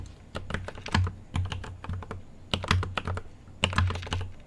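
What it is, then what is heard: Mechanical keyboard typing. Fingertips type on a mechanical keyboard with an aluminium case and plastic keycaps. The keystrokes come in several quick bursts, each a sharp clack with a low thump that dies away almost at once.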